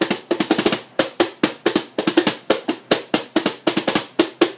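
Both hands drum rapid taps with fingertips and palms on the green plastic lid of a large, hollow white plastic bucket held between the knees, possibly modified into a snare drum. About 27 sharp, snappy hits come in uneven bursts and flams, each with a bright papery attack, a hollow body tone near 350 Hz, and almost no low end. Each hit dies away quickly.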